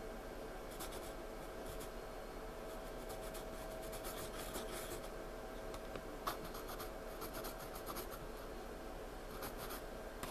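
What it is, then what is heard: Pencil scratching on a paper sketchbook page. A wooden graphite pencil scratches and shades a paper sketchbook page in close-up, with no other object involved. Quiet, continuous scratchy strokes come in bright, gritty bursts over a faint steady low background.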